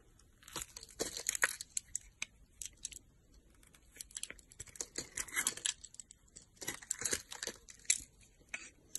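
A solid pink soap bar, held in the hand, is carved with a yellow-handled utility knife, and crumbly pieces break off as it is cut and scraped. Bursts of bright, dry scraping and crackly crumbling come and go throughout, with short sharp snaps and almost no low end.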